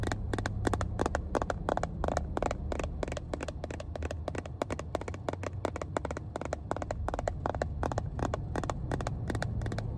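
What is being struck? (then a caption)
Hollow plastic box. A small, hollow, cream-coloured plastic first aid kit case embossed "Johnson & Johnson" is held in one hand inside a car and tapped and scratched with long painted nails. The result is a rapid, steady stream of short, dry clicks with faint scratching, over a constant low hum.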